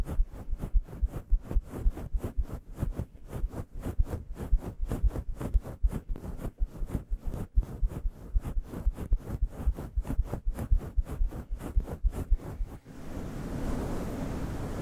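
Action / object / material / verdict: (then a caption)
scrape / faux fur microphone windscreen / faux fur / none. Fingertips with long yellow nails scratch and rub a grey faux fur windscreen on a microphone, making about 35 quick, deep, muffled strokes in a steady rhythm. Each stroke is a soft, low thump-like swish that dies away almost at once. In the last two seconds the rhythm stops and gives way to a continuous, even rubbing rustle.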